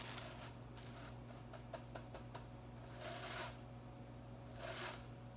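A long fingernail flicks and scratches across the tips of the blue plastic bristles on a white-headed broom. A run of short, crisp ticks is followed by two longer, brighter scratching sweeps, all over a steady low hum.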